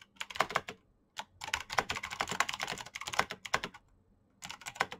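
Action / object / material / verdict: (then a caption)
tap / plastic mechanical keyboard / plastic / none. Fingertips fast-type on a black plastic mechanical keyboard with clicky green switches and backlit keycaps. The result is bursts of sharp, bright, clicky keystrokes with very short ring, separated by brief pauses.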